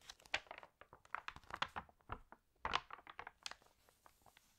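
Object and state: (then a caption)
Crinkled, water-damaged paper magazine. An open, water-damaged paper fashion magazine has a page turned while nails rub its crinkled paper. The result is a quiet run of short, crisp crinkles and crackles that stop abruptly, bright with almost no low end, thinning toward the end.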